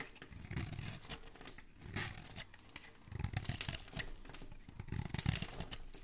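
A metal blade scrapes and shaves curls off the edge of a solid rectangular green bar of soap held in a hand with dark painted nails. The result is a run of dry, crunchy scraping and crackling strokes, with a soft low body under bright, crisp shaving textures. Louder bursts come around the middle and near the end.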